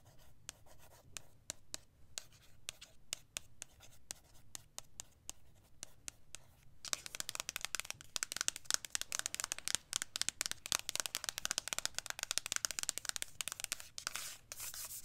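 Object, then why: Printed cardboard box. Long nails tap and scratch across the front of a flat, printed cardboard eyeshadow palette box held in one hand. Sparse, crisp taps come first, then after about seven seconds the sound turns into dense, bright, hissy scratching full of quick clicks.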